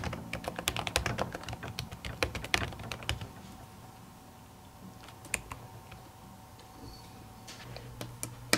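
Long natural nails type on the plastic keys of an aluminium laptop keyboard covered by a printed silicone skin. A rapid burst of soft, bright clicks is followed by quieter, scattered taps over a faint steady hum, with a few sharper clicks near the end.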